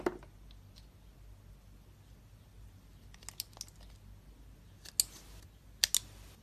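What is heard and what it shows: A utility knife blade shaves thin slices off a solid, hand-sized, orange and yellow striped Duru bar of soap held in the hand. About eight crisp, bright, clicky scrapes sound at uneven intervals, with clusters near the end. Each is very short, over a quiet low hum.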